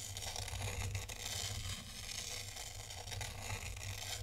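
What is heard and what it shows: A thin black stylus draws circles through fine white sand in a tray, scratching through the grains. The result is a steady, gritty, crackling scrape with a bright hiss on top and a constant low hum underneath.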